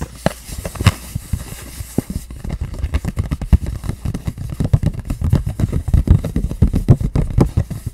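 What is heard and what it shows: A flat, hollow pink printed cardboard packaging box for lashes is held up in both hands and tapped and scratched with long painted nails. The result is a dense stream of quick, dull, low thumps and soft scratchy ticks, with a faint bright hiss in the first two seconds that then drops away.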